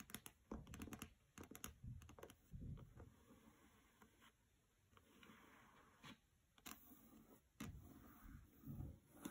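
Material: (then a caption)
Paper, board. Long nails tap across the glossy paper dust jacket of the hardcover novel "Graceling" as it lies on a carpet. The result is a quiet, uneven run of short, dull, low-heavy clicks that die away almost instantly, with faint brushing sounds between the taps.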